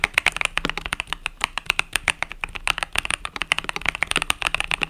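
A compact mechanical keyboard with pastel purple and yellow plastic keycaps is typed on rapidly with fingertips. About 40 short, crisp, bright clacks come in a quick, uneven stream, with almost no low end and each keystroke dying away at once.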